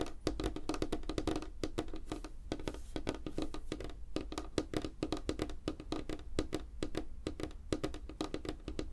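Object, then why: Wooden tabletop. Fingertips and nails tap rapidly on a light, solid wooden tabletop, with both hands spread apart on the surface. The result is a quiet, dense stream of short, dry knocks and clicks with a woody tone around 312 Hz, little ring, and a steady low rumble underneath.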